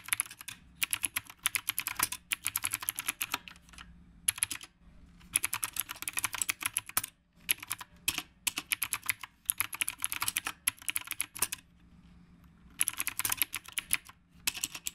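Steady fingertip typing on a retro typewriter-style mechanical keyboard with round plastic keycaps. Bursts of bright, sharp key clicks come in rapid runs, broken by short pauses. A faint low hum sits underneath.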